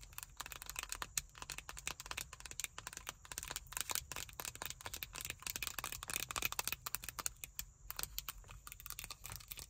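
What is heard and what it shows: A small pocket-size hollow plastic hand sanitizer bottle filled with pink gel, with a pale pink cap, is tapped and scratched with long white acrylic nails. Dense, rapid, bright clicks and scratchy crinkles run continuously, each dying away almost instantly over a faint low hum.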